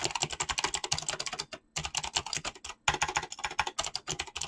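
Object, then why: Mechanical keyboard with plastic keycaps. A mechanical keyboard with clicky switches and PBT plastic keycaps is typed on fast with fingertips. A dense, rapid run of short, bright clicks is heard, broken by two brief pauses, with each keystroke dying out almost at once.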